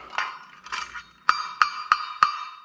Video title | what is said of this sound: Cooking Tips Baking Equipment | very hollow sound very thin